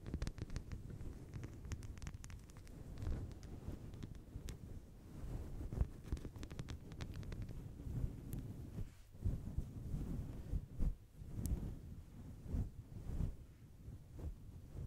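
Long blue acrylic nails scratch the surface of a fist-sized, grey-white synthetic fur microphone windscreen. The result is a continuous, muffled, low rumbling and brushing with soft thumps, and occasional faint, brighter crackles on top.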